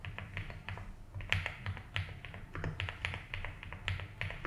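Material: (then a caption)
ABS plastic. Fingertips of both hands type continuously on a compact blue and white Rainy75 mechanical keyboard with doubleshot ABS keycaps on a polycarbonate plate, resting on a felt desk mat. A steady, unhurried stream of short key taps is heard, each a bright click over a deeper low thock that dies away almost instantly.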